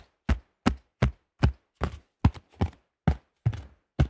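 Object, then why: Thin plastic disc golf disc. Fingertips and nails tap on the stamped top of a cream AGL plastic disc golf disc with a thin shell. The taps come at an uneven pace and sound as dull, low, hollow thuds with almost no ring. A few land as quick double or fluttering taps.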